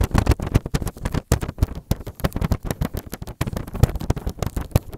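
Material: Plastic film.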